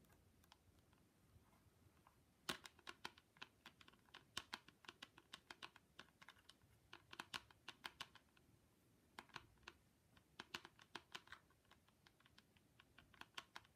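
Long pointy pink nails on fingerless gloves tap repeatedly on the curved mirrored plastic lens of ski goggles held in both hands. Quick, bright clicks come in irregular bursts with short pauses between them. Each tap is dry and dies away almost at once.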